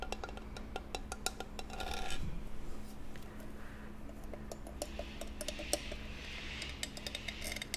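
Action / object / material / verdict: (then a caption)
tap / small embossed metal jewelry box / metal / none. Long nails tap and scratch over the hinged lid and sides of a small, hollow, ornate metal jewelry box with an embossed, decorative silver-toned surface, held in the hands. Quick, bright, short clicks with a light metallic ring come in irregular runs, broken by softer scratchy rasps. A steady low hum sits quietly underneath throughout.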